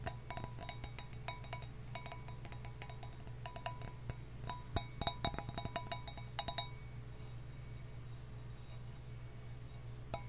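A copper mug is tapped with a mix of slow and fast taps, giving bright, metallic clinks with a short ring over a steady low hum. The tapping is irregular and quickens into a denser burst before stopping about two-thirds of the way through, leaving only the hum and a single faint tap at the very end.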